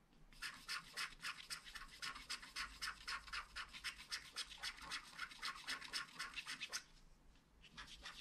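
A wooden stylus scratches the mane into a flat black scratch art card made of wax-coated paper, producing rapid, fairly steady, bright scratchy strokes at about four per second. The strokes pause briefly around the seventh second, then resume more quietly at the end.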